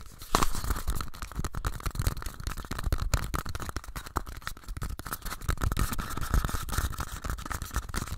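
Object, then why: Small empty paper cups. Two identical small, empty pink paper cups are rapidly tapped and scratched with fingers and nails and rubbed together. The result is a dense, continuous stream of quick papery taps and dry scratching, with a faint midrange ring running underneath throughout.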